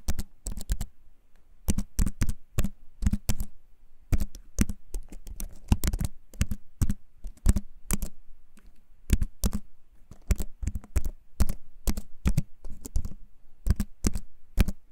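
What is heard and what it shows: A compact wooden keyboard with a wood-toned frame, held up close in both hands, is typed on with the fingertips. Rapid clusters of short, crisp key taps come with a low thud under each one and are separated by brief pauses, about 59 taps in all.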